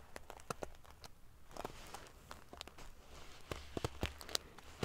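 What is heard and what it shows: Long nails scratch quickly across a large padded pillow covered in rows of silver metal sequin pieces. The result is a quiet run of quick, dry, bright clicks and prickly crackling scrapes over a faint low rumble, with each tick cutting off almost instantly.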